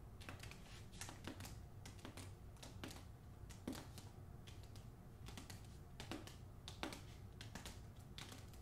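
Long acrylic nails tap and scratch the front cover of a solid, medium hardcover novel with cardboard boards in a glossy paper dust jacket, held upright. Quick, dry, clicky taps come in an irregular stream over soft scratching, with a few brighter, sharper hits standing out. A steady low rumble sits underneath the quiet tapping.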